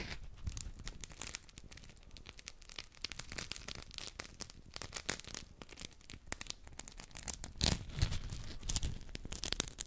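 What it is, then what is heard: Polymer scrub sponges. Two identical round, hand-sized yellow textured polymer scrub sponges with smiley-face holes are held in both hands and rubbed and squeezed against each other close to the mic. The result is a dense, irregular stream of dry, crinkly, tearing-like scrapes and squeaks with bright, crackly bursts. The rubbing grows louder and sharper toward the end.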